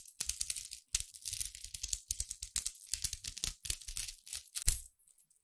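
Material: Steel.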